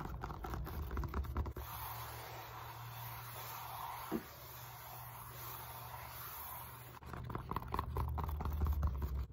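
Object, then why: Molded polyethylene foam roller. Long nails rub and scratch a solid black-grey molded polyethylene foam roller, first across its end face and then along its bumpy side. Rapid, uneven dry scratching bursts give way to a steadier, softer hiss in the middle before the busy scratching returns, all over a low rumble.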